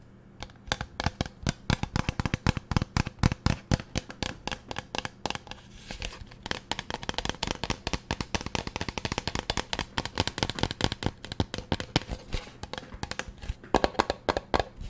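Long nails tap rapidly and steadily on the body and label of a large teal plastic pump bottle. Each tap is a sharp, dry click that dies away almost at once, over a faint low hum.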